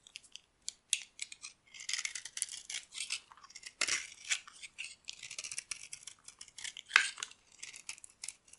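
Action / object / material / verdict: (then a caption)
scrape / bar of cream soap / soap / none. A metal blade scrapes brittle chunks off a solid, dry cream-colored bar of soap. The result is a quick series of crisp, dry scraping and crackling strokes. The sound is bright and high with no low end, and each stroke stops short with almost no ring.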